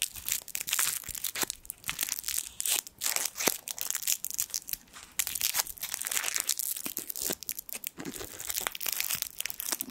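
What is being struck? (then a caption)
Foil sweet wrapper. The twisted end of a small gold foil sweet wrapper is crinkled with the fingertips over a microphone. A dense stream of bright, crisp crackles and sharp snaps continues with almost no low end, each one dying away instantly.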